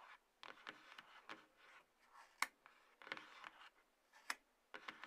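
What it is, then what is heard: Cardboard box scratched with nails. Long nails scratch and rub the sides of a small, closed, hollow white-grey cardboard box, the lower part of iPhone packaging, resting on a table. Dry, papery scratching bursts come at an irregular pace, some sharper and brighter than others, with no low end. Each burst stops dead with no ring, leaving quiet gaps between them.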